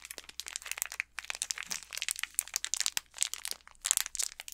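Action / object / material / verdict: scrape / candy bar in a plastic wrapper / plastic film / none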